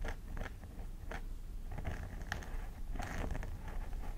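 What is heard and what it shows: A thin wooden stick scratches the dandruff-flecked parting of a hollow plastic mannequin head covered in grey-blue synthetic hair, while a hand with long nails holds the hair aside. Short, crisp scratching and crackling bursts come in uneven strokes over a steady low rumble.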